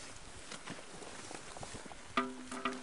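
A large petrified stone with a bark-like texture is struck, producing hollow, metallic-sounding rings with clear harmonic overtones around 250 Hz. Two sharp strikes stand out near the end above a low, noisy outdoor background. The resonance is unusual, since not many stones ring like this.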